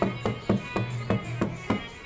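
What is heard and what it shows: Stones of the Jatoli Shiv temple are tapped by hand to test whether they give a damru-like sound. Six taps are heard about a quarter-second apart, each a short thud with a faint low, pitched ring that fades quickly. A sound does come from the stones, though only faintly.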